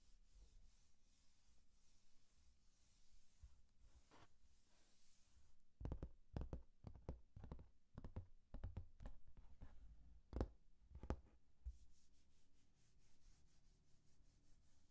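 Long painted nails and fingertips rub and scratch across the printed page of a thin glossy paper booklet with a colored cover, held open in one hand. Soft, quiet rubbing gives way midway to a cluster of short, dry, irregular scratches and clicks that fade back into faint rubbing.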